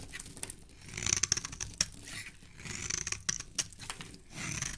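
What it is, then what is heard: Bar of soap being carved. A small black blade scrapes and carves a palm-sized solid tan bar of soap held in a gloved hand, throwing off shavings and flakes. The sound is a run of bright, dry scratching strokes with sharp, crisp clicks and little low end, ending quickly with no ring.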